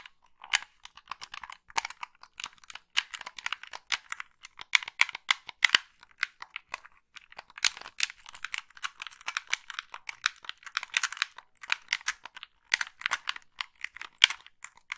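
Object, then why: Plastic game controller shell. Long nails tap and scratch the shell of a hollow black plastic gamepad held in both hands and press its thumbsticks. The result is a dense run of quick, dry, bright clicks and scratchy rustles with almost no low end and no ringing after each tap.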